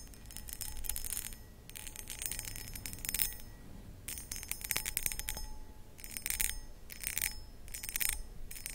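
Long acrylic nails scratch across the cut pattern of a medium, hollow, empty cut crystal glass footed pedestal bowl. Repeated bursts of bright, high, gritty scratching come with thin, faint bell-like ringing tones. Quiet low rumble fills the gaps between strokes.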